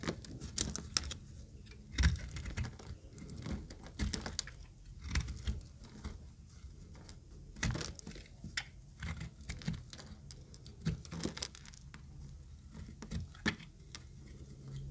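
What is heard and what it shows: An oval, pink-green speckled bar of solid dry soap, held in the hand, is shaved with a utility knife blade. Each stroke makes a dry, crisp scraping crackle with bright edges over a low rumble, coming in irregular bursts with quiet gaps between.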